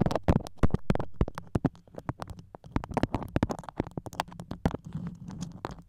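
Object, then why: Beeswax-coated cotton wrap. A floral beeswax-coated cotton food wrap, moulded over a microphone head, is scratched and tapped with long acrylic nails. Quick, dense taps and crackly, sticky scratches overlap with a heavy low-end thump. The sound runs as an irregular stream of short, dry clicks and rustles.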